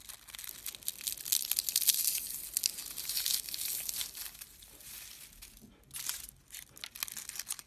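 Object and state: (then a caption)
Dried rose heads crushed between fingers. Single small dried rose heads, picked from a pile, are crushed and rubbed between fingertips with short painted nails, giving a dry, bright crumbling and crinkling sound with almost nothing low. A dense crackle builds and holds for about four seconds, thins out, then returns in short crisp bursts toward the end.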